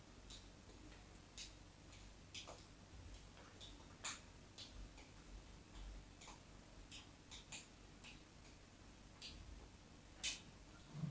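A craft knife blade scores lines into the top of a solid white embossed bar of soap, held by fingertips with short yellow nails. Short, crisp, bright scraping ticks come at an irregular pace over a quiet, steady low hum.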